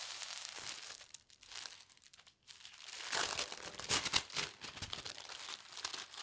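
A folded, thin polka dot tissue paper sheet is folded again and its creases are pressed with the fingertips. It makes soft, bright, irregular crinkling and rustling, quieter through the first half before louder, crisper crackles toward the end.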